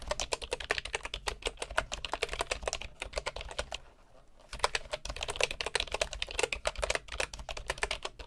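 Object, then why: Bamboo keyboard with wooden keycaps. Both hands type with their fingertips on a bamboo computer keyboard with wooden keycaps. The result is a fast, steady patter of short, dry, bright clicks with almost no ring, broken by a brief quiet pause around the four-second mark before the typing picks back up.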